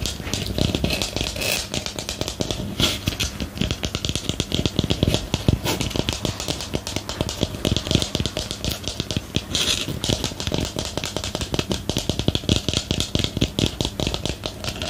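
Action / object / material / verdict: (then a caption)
tap / small ceramic planter pot / ceramic / none. Fingernails tap and scratch the outside of a small, hollow, empty white ceramic or porcelain planter with a lace-pattern rim, held in the hands close to the mic. A steady stream of rapid, dry clicks with almost no ring sits over a low, hollow body tone and bright scraping texture.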